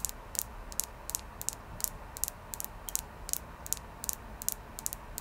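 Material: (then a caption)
Quartz. Fingernails tap on a clear quartz crystal, producing 21 short, bright, high-pitched ticking clicks in an uneven rhythm. Each click dies away almost instantly over a faint, steady background hiss.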